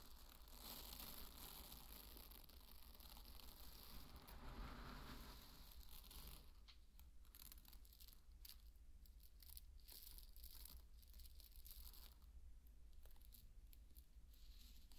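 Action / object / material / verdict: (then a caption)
drop / pearl barley grains / barley grain / none. Dry pearl barley grains are scooped up in the palms and poured back by hand onto a bed of grain, making a steady, dense rustling patter of many tiny grain impacts. The sound is brighter and fuller for the first six seconds, then thins to a sparser trickle of crisp clicks over a low, constant hum.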